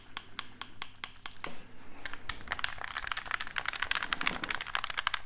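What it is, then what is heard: Plastic game controller. A black hollow plastic gamepad is tapped with fingertips and its buttons are clicked close to the mic. First come evenly spaced, short, dry tapping clicks, then a faster, denser run of bright plastic clicks and taps over a low steady hum.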